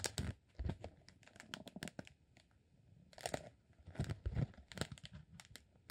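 A partly rolled green honeycomb beeswax sheet is unrolled and rubbed with fingertips. It gives quiet, dry crinkling and crackling with short sharp snaps and bright ticks over a soft low rustle, coming in uneven bursts separated by near-silent pauses.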